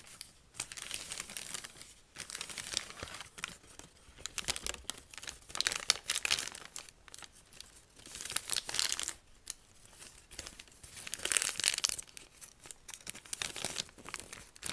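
A wrinkled, torn-out sheet of thin white lined notebook paper with a ragged spiral edge is unfolded with both hands, shaken slightly and crumpled again with the fingertips. Bursts of bright, dry crinkling and crackling rise and fall in waves, separated by brief quiet gaps, with almost no low-end weight.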